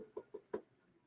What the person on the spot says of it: It's got a hard shell. You hear me knocking on it.